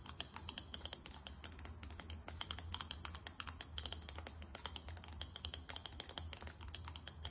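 Long acrylic nails tap quickly on a small, chunky faceted glass perfume bottle with a thick glass/metallic finish and a chrome cap. Dozens of sharp, bright, clicky taps sound in a rapid, uneven stream, each dying away almost instantly, over a faint steady low hum.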